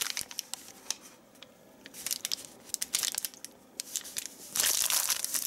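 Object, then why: Thin plastic bag. A thin, shiny white plastic bag lying flat and crinkled on a dark surface is pressed, rubbed and crinkled with the palms and fingertips of both hands. Irregular bright crackles and crisp rustling come in quick bursts, swelling into a louder, continuous crinkling toward the end.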